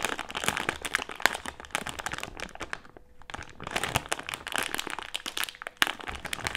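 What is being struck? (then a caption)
Plastic-film candy bag with gummies inside. A medium printed plastic-film Haribo gummy candy bag with gummies inside is crinkled and pressed against a table with fingertips. The result is dense, bright crinkling and sharp crackles, with a brief quieter lull midway before the crinkling resumes.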